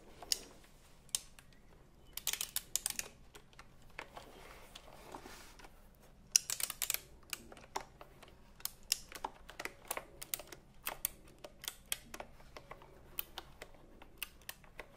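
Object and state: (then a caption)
Typewriter-style keyboard with round plastic keys. A full-size retro typewriter-style computer keyboard with a wood-grain/metal-look frame and round black plastic keycaps is held upright while fingertips with medium nails press and tap the keys. The result is a steady run of short, bright, dry clicks and clacks with almost no ring, some landing in quick clusters, over a faint low background.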